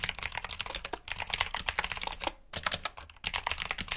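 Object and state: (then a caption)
Plastic mechanical keyboard typing. Fingertips of both hands type quickly on a black backlit mechanical keyboard with plastic keycaps resting on a desk mat. The result is a dense run of bright, clacky keystrokes, with short pauses near one, two and a half, and three seconds.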